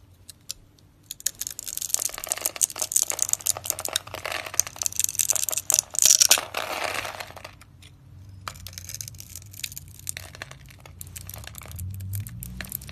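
A utility knife blade crunches cubes off a white, embossed, hand-sized bar of solid dry soap scored in a grid and held in the hand. Dense, bright, dry crackling and crisp snapping clicks build to loud bursts through the middle. The sound then eases into softer, quieter crumbling toward the end.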